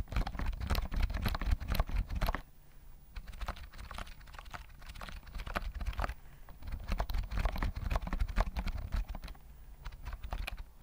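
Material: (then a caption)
Plastic. A full-size white plastic keyboard with round mint keys and a hollow body, held near the mic, is typed on with fingertips. Quick, irregular clacking taps land over a hollow, low thump, with louder bursts of typing at the start and again in the middle of the clip and quieter, lighter tapping in between.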